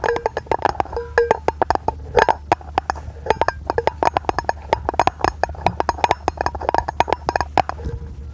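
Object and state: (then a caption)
Aluminium lid. A palm-sized, hollow, round brushed-aluminium lid is held in both hands in front of the microphone and tapped with long painted nails. Dozens of quick, dry taps with a hollow, wood-block-like tone near 930 Hz and bright clicky edges die away almost at once. A faint steady low hum sits underneath.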